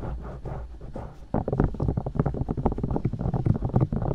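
Long dark nails tap and poke the silicone ears of a binaural microphone mounted on white plastic discs. A soft, muffled rumbling for the first second or so gives way to a rapid run of dull, low thumps and pokes, with almost no high or bright content.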